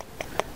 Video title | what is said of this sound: Kako se suše vrganji? (jednostavan način sušenja gljiva na suncu i vetru) | Cây nấm này bây giờ đã khô hoàn toàn và khi chúng ta dùng ngón tay gõ vào nó như thế này thì nghe thấy âm thanh như đang gõ vào gỗ.